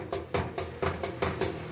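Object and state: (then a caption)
Loose washing machine drum (broken spider support). The drum of a Samsung washing machine, loose because its spider (tripod) support broke, is shaken by hand and knocks around. Seven dull knocks sound at a steady pace, each with a short ring. This is the fault behind the machine's noise during the spin cycle.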